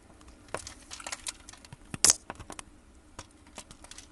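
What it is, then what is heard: Soap bar being cut into cubes. A gloved hand works a metal blade into a solid brown soap bar scored in a grid, popping off small cubes. The result is a series of quiet, crisp, bright clicks and crackles that die away almost instantly, with the loudest snap near the middle and little low-end weight.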